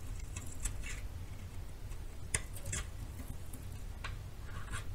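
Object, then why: Bar soap scraped with a metal knife. A metal knife repeatedly scrapes and shaves the surface of a solid white bar of soap held in the hand. The soft, dry scratching strokes sound bright and crisp over a steady low rumble, with one sharper scrape standing out midway.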